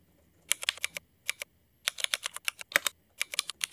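Fingertips of both hands type on a Cherry MX mechanical keyboard with black ABS plastic keycaps. Twenty sharp, bright clacks come in quick bursts, separated by short pauses. Each one dies away almost instantly, with no low-end thump.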